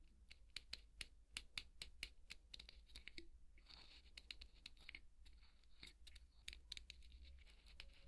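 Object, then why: Polystyrene foam ball scraped with a wooden skewer. A thin wooden skewer scratches and scrapes across a large white solid polystyrene foam ball, making a rapid run of sharp, bright, crackly clicks with short squeaky scraping strokes between them. A steady low hum runs underneath throughout.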